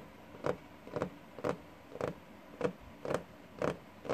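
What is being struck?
Wooden desktop.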